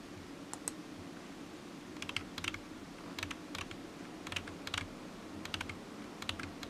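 Fingertips of one hand slowly tap the keys of a solid, black, low-profile plastic computer keyboard resting on a desk mat. The sharp, bright clicks come in short uneven bursts with brief pauses, each one dying away quickly. A steady low hum sits underneath.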